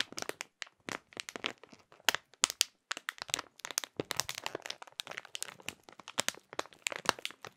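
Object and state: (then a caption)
Plastic food package crinkling. Fingertips crinkle and crunch a clear printed plastic bag holding a small food item, close up. A steady run of sharp, bright crackles and crunches fills the clip, dry with no ring and almost no low end.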